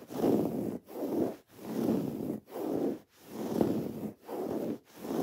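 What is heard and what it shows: Long nails scratch a soft, stuffed teal throw pillow of textured woven fabric with raised white cord embroidered lettering, while the pillow is gripped and turned. Seven separate scratching strokes of soft, muffled, rustling noise are heard, each separated by a brief silence and centred in the low-mid range with little bright content.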